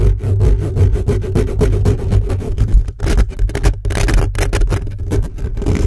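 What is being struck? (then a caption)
Metal mesh microphone grille. Fingertips of both hands scratch fast and hard across the hollow metal mesh grille of an upright black condenser microphone. The result is a dense, continuous run of rapid scraping bursts that sound heavily boomy and muffled, almost all low rumble, with a steady low hum beneath.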